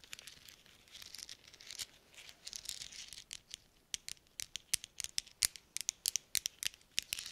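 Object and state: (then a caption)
Metal thimbles clinking. Small hollow silver-coloured metal thimbles worn on the fingertips of black-gloved hands are tapped and clinked against each other close to the microphones. Bright, dry metallic clicks come in quick, uneven bursts. Soft rubbing and scraping fills the first few seconds, and the sharp taps grow more distinct toward the end.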